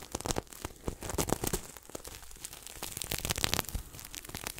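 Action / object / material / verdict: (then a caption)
scrape / sequin-covered throw pillow / plastic sequins / none. Fingertips scratch and rub the sequins of a red and silver sequin throw pillow held close to the mic. The result is a dense run of dry, crackly rustles and bright ticking clicks that come in quick bursts and stop dead with no ring.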